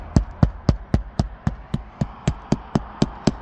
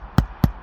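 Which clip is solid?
The first.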